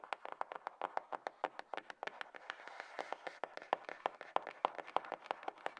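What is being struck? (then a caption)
Cardboard box. Long nails tap and scratch the top and side of a hollow, light grey cardboard iPhone box resting on a table. About 41 quick, dry, separate taps with a mid-pitched hollow knock ring out, each dying away almost at once. Soft scratching fills the gaps, with no low rumble.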